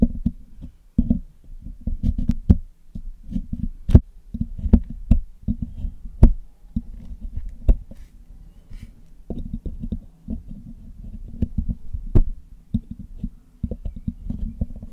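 A thin metal needle pick and metal tweezers scrape and tap across the hollow black metal mesh grille of a Blue Yeti microphone during cleaning. The result is a close, steady stream of dull, low scratching and knocking, with short bursts and occasional sharp, bright clicks that die away almost instantly.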